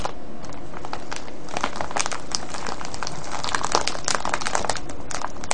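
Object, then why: Cellophane bag of foil-wrapped candies. Fingertips press, scratch and crinkle a clear cellophane bag full of foil-wrapped candies tied with ribbon. A steady stream of dense, bright crackling and crinkling carries on without pause, with sharper snaps standing out here and there over a low background rumble.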